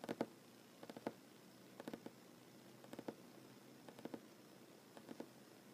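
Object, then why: Wooden tabletop. Short fingernail tips of one hand drum on a solid wooden tabletop while the other hand rests on the table. They make quiet, dry taps in six quick bursts of two to three taps each, 16 in all. Each tap is a short knock centered near 234 Hz that dies away almost at once, with faint quiet between the bursts.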